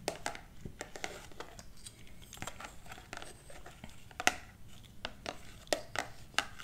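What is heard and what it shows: Long black plastic claw finger extensions tap and scratch a solid hardcover book with a glossy printed cover, held upright, and the claws may also clack against each other. Quiet, dry, bright clicks and taps come at an irregular pace, with soft scratchy rustling between them. Each tap stops almost at once with no ring.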